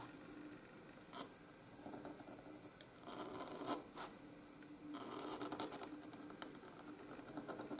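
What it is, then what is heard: Paper scratched by a steel pen nib. A steel nib in a wooden oblique holder writes cursive letters on a flat sheet of white gridded paper. Soft, irregular scratching strokes rise and fall, with brighter bursts of scraping in places.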